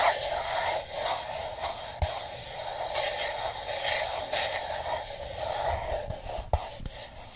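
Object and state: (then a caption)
Paper cup scratched with fingernails. Fingernails scratch the outer wall of a single empty, hollow paper cup with a yellow and blue printed pattern, held upside down. A steady, dry rasping scratch with a papery midrange and bright hiss rises and falls for about seven seconds. Occasional short, dull taps cut through the scratching.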